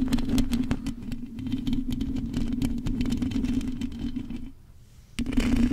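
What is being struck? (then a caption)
Metal mesh microphone grille. Long acrylic nails of both hands scratch the rounded, hollow metal mesh grille of a large silver condenser microphone. The result is a rapid, uneven scratching and clattering, roughly four strokes per second, over a steady low hum. The sound drops to near silence for a moment before the scratching resumes.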